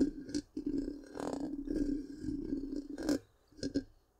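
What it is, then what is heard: Metal mesh microphone grille being scratched. Long pink-painted nails scratch the black, round, hollow metal mesh grille of a large microphone. The result is a series of raspy, close scratching bursts over a steady low droning tone, with brief bright flares of scraping. The sound fades to near silence before two final quick scrapes.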